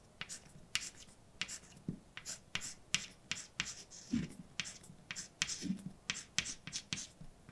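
A hand writes letters in white chalk on a large, dark, flat chalkboard. About twenty short, bright taps and scrapes come in quick succession, with faint low thumps under some strokes and no ring after each hit.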